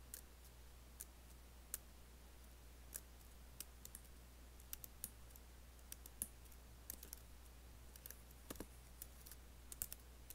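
Nails and fingertips tap the black plastic keys of an Apple laptop keyboard with an aluminium body. Sharp, bright, very short clicks arrive at an irregular pace over a quiet, steady low hum.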